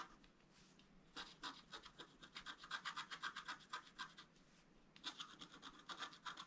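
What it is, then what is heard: Scratch-art card being scratched. A wooden stylus scratches fine strokes into a flat scratch-art card, a black coating over a colored foil layer, held flat on a table. The result is a rapid run of bright, dry scraping strokes with a quiet pause near the start and another just before the end.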